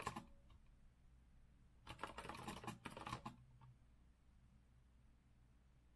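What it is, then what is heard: Mechanical keyboard being typed on. Fingertips of both hands type steadily on a compact retro Azio mechanical keyboard with a rose-gold metal frame and round plastic keycaps, resting on a wooden desk. Quick, sharp key clicks with short ring come in a brief burst at the start, then a denser flurry in the middle, separated by quiet pauses with a low background hum.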